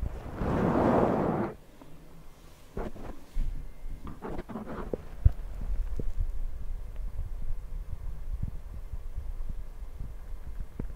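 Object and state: Foam microphone windscreen.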